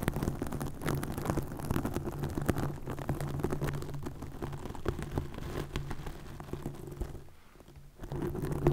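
Long nails scratch and flutter over a green plastic mesh net stretched over a microphone, making a dense, continuous crackle of close, soft scratches over a steady low hum. The sound stays mostly low and muffled, dips briefly quieter just before the end, then picks back up.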